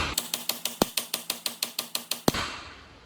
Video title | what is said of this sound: Allis Chalmers 919H Deck Spindle Rebuild Part 5 | you can hear it once it got in place. It got a little different sound.